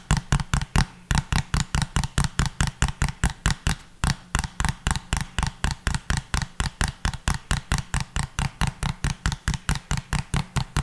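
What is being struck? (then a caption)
Small plastic bottle. A small, hollow pink plastic bottle with a pink cap is held upright and tapped or scratched with the fingertips. About 47 quick, dry, hollow taps are heard at a steady, fast pace, with brief pauses near the first and fourth seconds. Each tap has a low, thumping body and a short bright click that dies away almost at once.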